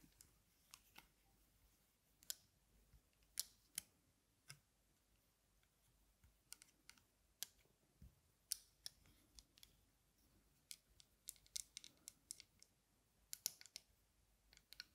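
Metal-frame aviator sunglasses with dark lenses are held in the hands while long nails scratch the frame and then tap the dark lenses. The result is a quiet, irregular series of sharp, bright clicks and ticks that die away almost instantly, with faint scratching between them and little low end.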